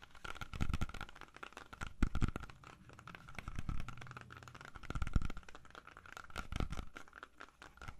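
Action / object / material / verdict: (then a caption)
scrape / whole apple / apple skin / none. Fingernails tap and scratch the skin of a whole, solid red-yellow apple held close to the mic. The result is a dense, irregular run of short, dry clicks and rasping scrapes with a heavy low thump, swelling and fading in soft waves over a faint steady tone.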